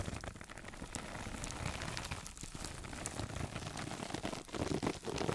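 A single hand-sized woven sisal fiber mesh sponge, soft and somewhat hollow, is held in both hands and scratched and squeezed with long nails and fingertips. The result is a dense, continuous crackling and rustling scratch with low rumbling handling noise and bright fibrous crinkles, briefly dipping before growing louder toward the end.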